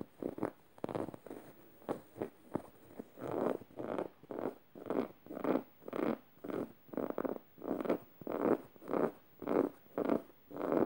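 Long red nails scratch the felt mouth and tongue of a yellow stuffed plush fabric emoji cushion. Quick sharp scrapes at the start settle into a steady run of soft, rasping strokes, nearly two per second. The sound is a dry, mid-range rustle with little low rumble and no lingering ring.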